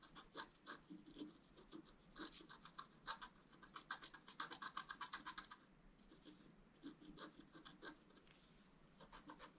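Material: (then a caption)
Coated paper. A wooden stylus scratches tree branches into a flat scratch art paper card. Quiet, dry, bright scratching strokes come in quick bursts, with a dense run of rapid strokes in the middle before slowing again. Each stroke stops almost at once, with no ring.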